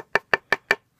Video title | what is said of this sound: Handmade Leather Sheath For A Kershaw 2220 | you can hear it, it sounds like wood.